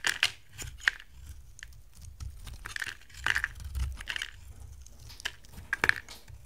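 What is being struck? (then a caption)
Bar of soap cut with a knife blade. A utility knife blade carves a hand-sized, solid oval yellow soap bar with a gold pattern, breaking off dry chunks. Sharp, crisp cracks and scraping crunches come in irregular bursts with a bright, brittle crackle. Each one stops dead with no ring over a faint low background hum.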